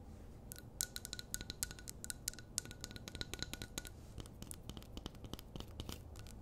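Long nails scratch and tap the glass walls of a medium glass jar candle filled with wax, held in both hands. Quick, bright clicks and scratchy taps come in irregular rapid bursts, with a faint steady glassy tone through the first half, over a low, soft background rumble.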